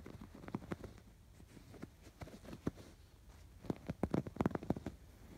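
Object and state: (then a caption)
Yarn-embroidered canvas pillow. Fingertips scratch along the curved stitched lines of a stuffed canvas pillow with raised yarn embroidery. Quiet, dry scratching and rustling comes in a series of short, soft bursts with little ring, mostly low and muffled. The strokes cluster more densely toward the end.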